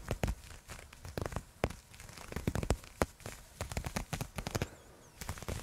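Long nails scratch along a black nylon fishnet arm sleeve worn on a raised forearm, held away from the microphone. Dense, quick scratchy crackles in irregular bursts, heavy in low rumble with brief bright ticks and almost no ring.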